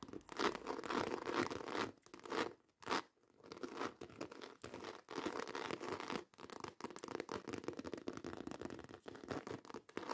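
Long white acrylic nails scratch and tap rapidly across a black croc-embossed faux leather handbag. The result is a dense, dry crackle of scratches and quick clicks with brief pauses, bright in tone but light in the low end.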